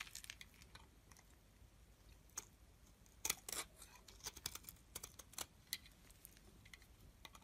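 A solid yellow-tan soap bar held in the hand is scraped with a metal utility blade, shaving it into thin curls. Quiet, dry, crisp scraping and ticking sounds come in short bright bursts, with a few louder strokes around the middle and almost no low end.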